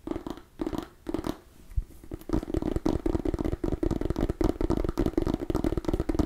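Long nails scratch and tap a small cream-and-orange striped mini pumpkin, a hollow gourd held close to the mic. Soft, sparse scratching at first gives way to a steady run of quick, dry taps and scrapes with a low, hollow thump underneath each one.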